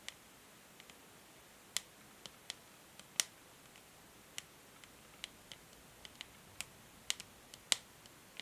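Long nails tap and scratch a medium hollow plastic paddle hair brush, out of its packaging, with a grey matte back and white-and-pink plastic pins, first on the back and then on the bristle side. About 16 sharp, bright clicks and ticks stand apart over a quiet hiss, each dying away almost instantly.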